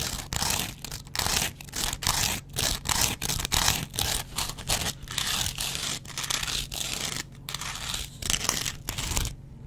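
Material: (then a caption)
Foam. A double-edge razor blade is scratched across a yellow foam kitchen sponge with a green scouring layer. Repeated bright, rasping strokes come in short bursts with brief gaps between them, over a faint low hum.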